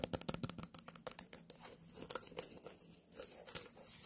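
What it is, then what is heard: Small white pumpkin. A small white pumpkin, held close, is tapped and scratched with long nails. A rapid run of sharp, crisp taps gives way to a steadier, bright scratching rasp. Each sound dies away quickly.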